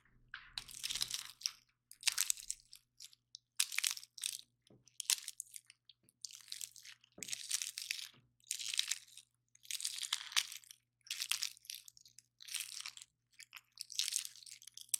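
A single hand-sized dry pine cone with solid, glossy-looking woody scales is held in both hands while fingertips and nails pick, bend and snap off the scales. The result is a run of short, dry, bright crunching and cracking bursts with brief pauses between them and almost no low end.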